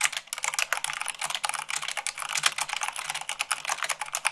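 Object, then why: Plastic mechanical keyboard. Fast typing at about 98 words per minute, using fingertips and long nails, on white plastic keycaps of a black mechanical keyboard. A rapid, uneven stream of sharp, bright plastic clicks and clacks, each dying away almost instantly, with no low-end thump.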